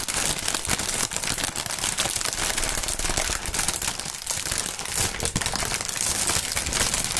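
Clear printed polyethylene air-cushion packaging film, hollow air pillows, is crinkled and shaken with both gloved hands. A dense, steady stream of bright crackling and crinkling runs throughout with little low end, sharp rapid snaps that die away almost instantly, and a fairly even loudness.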